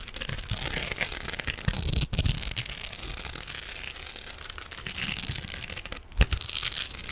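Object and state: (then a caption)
Metal mesh scrubbing sponge being scratched. Fingernails scratch an elongated silver metallic mesh scrubbing sponge held in one hand, producing a continuous dense crinkling, rustling scrape with bright high hiss and soft low thumps. The texture swells and fades over about seven seconds, with a few sharper grabs standing out, including a brief louder crunch near the end.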